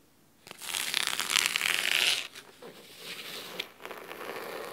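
Fingernails scratch along the fabric spine and top cover of a thick, navy cloth-bound hardcover book resting on a wooden table. A bright, dry, hissy scratching starts after about half a second and is loudest and densest for the first two seconds. It then continues more softly in uneven, raspy strokes to the end.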